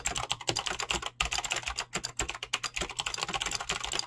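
Fingertips type fast on a Razer BlackWidow mechanical keyboard with clicky green switches and pink-blue dyed PBT plastic keycaps. A rapid, steady stream of short, bright clicks and clacks follows, each keystroke snapping off almost instantly with a faint low hum underneath.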